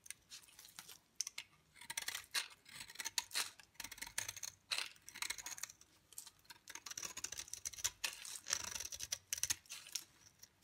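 A solid, dry yellow bar of soap is held in the hand while a utility knife blade shaves flakes off its surface and edge. Crisp, bright scraping and crackling strokes come in quick, uneven bursts with short pauses between them. There is almost no low-end body.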